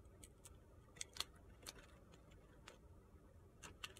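A utility-knife blade shaves the sides of a narrow, solid, pale pink soap block held in the hand. It makes a series of short, crisp, high-pitched scraping clicks with almost no ring, spaced unevenly over a quiet low hum.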